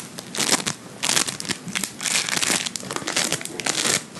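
A fist-sized lump of soft, solid blue beaded play foam made of polystyrene microbeads is held in one hand and squeezed, pinched and rubbed with the fingertips of the other. Dense, bright crackling and crinkling bursts swell and fade in waves, with very little low end.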